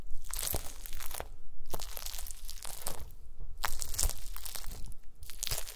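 A pile of small pink translucent solid gelatin jelly cubes on a white mesh mat is pressed and crushed with the round end of a wooden masher. Repeated crunchy, crackling bursts of bright texture sit over a soft low thud with each press.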